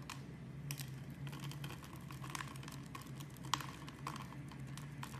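A knife blade scrapes cubes off a solid, palm-sized, translucent brown bar of soap scored in a grid, and the cubes crumble onto a cloth. Rapid, crisp clicking and ticking scrapes run throughout over a steady low hum, with one sharper snap partway through.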